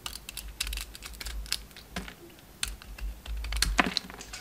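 A hand-sized solid pink oval bar of soap with leftover red coating is shaved into curls with a utility knife blade. The result is a quick series of short, crisp scraping and cutting clicks with bright, airy edges and almost no ring, plus a low rumble underneath.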